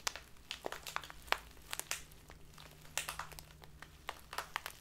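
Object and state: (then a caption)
Plastic tea bag being crinkled. A clear plastic tea package with a label, full of loose tea, is squeezed and crinkled with fingertips and long nails. A quiet, rapid series of sharp, bright crackles and crunchy snaps stops dead after each one, over a faint low hum.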